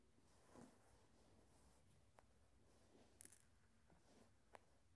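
Glass marbles are flicked so they strike each other and roll around. Five quiet, sharp glass clicks are heard, one of them a brief bright cluster, over a low, steady background hum.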